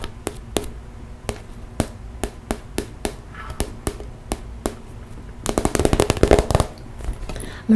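Long nails tap on the top and sides of a hollow, pink transparent PVC zip cosmetic bag, giving sharp, hollow plastic clicks. An evenly spaced run of separate taps gives way to a fast, dense flurry near the end.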